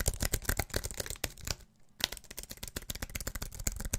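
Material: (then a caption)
Aluminium, plastic. Fingertips and nails tap fast across the white plastic keys of a slim wireless keyboard with an aluminium body, held upright. A rapid, uneven stream of short, dry, bright clicks with some low thump comes through, pausing briefly just before the midpoint and then resuming just as fast.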